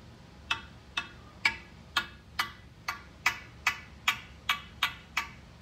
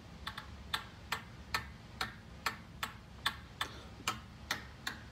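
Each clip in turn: First: Twelve crisp, high taps of a carbon fiber cue on a ball, each with a brief hollow ping. Second: About a dozen soft, dry clicks as a carbon fiber cue shaft taps a ball: solid and quiet, with no ping.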